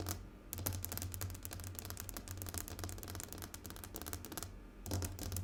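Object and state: Glass tabletop.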